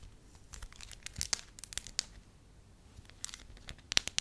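A hand-sized, pale yellow, pliable wax sheet is squeezed, folded and crinkled by fingertips and long nails. It makes bright, dry crackles and sharp tearing-like snaps in uneven clusters over a soft, faint hiss. The loudest pops come near the end.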